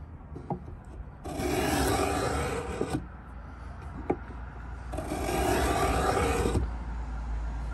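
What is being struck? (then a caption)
Pine wooden box. A steel Stanley 66 beading tool, held in both hands, is scraped lengthwise along the edge of a large hollow pine box. Two long, dense, rasping strokes are heard, each about two seconds, separated by a quieter pause with small clicks and taps.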